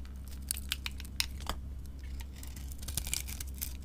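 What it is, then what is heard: Soap bar being carved. A gold-painted Ivory soap bar, coated in gold with glitter and held in the hand, has its surface scraped and carved away with a utility knife blade to expose the white soap underneath. Sharp, bright scraping clicks and crisp crumbly flakes sound in quick bursts over a steady low hum.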